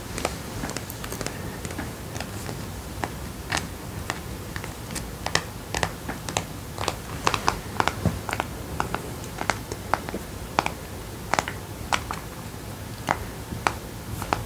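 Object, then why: Raw mineral stone. A hand-sized, solid, rough raw mineral stone, grey-brown with turquoise-blue patches, is held in one hand and tapped and scratched with the fingertips and short nails of the other. Dozens of quick, dry, bright clicks and taps are heard, with no ringing, over a steady low background hiss.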